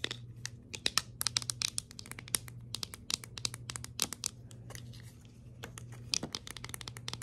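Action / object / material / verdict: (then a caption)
tap / small hard plastic scoop / plastic / none. A small, hollow, empty white hard plastic scoop is held in the hand and tapped and scratched with long acrylic nails. It makes a rapid run of sharp, bright clicks and scratchy rustles over a steady low hum, with each tap dying away almost instantly.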